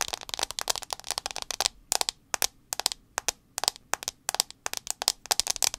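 Long acrylic nails tap rapidly on the black glass screen of a handheld iPhone 6s held sideways with the screen facing out. The taps are sharp, bright clicks with almost no low end that die away instantly, arriving in quick bursts separated by short pauses.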